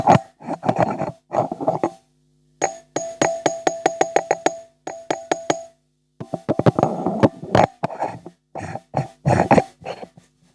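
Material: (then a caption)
Metal. A live Zetapro Ultra 1 wireless microphone is tapped on its metal (iron/steel) body, producing rapid bursts of short, bright "ting" clicks with a brief ringing tone and quick decay. The ringing shows the body is metal, yet the microphone is very light.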